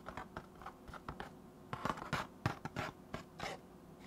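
A hollow, rectangular white cardboard box standing upright next to the microphone has its face scratched and tapped with fingertips. About 15 short, dry scratches and hollow taps come at an uneven pace of roughly three per second, each with a soft low thump and a quick decay.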